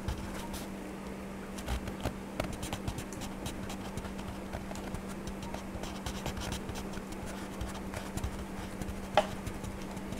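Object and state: Wax crayon scratching on a paper page.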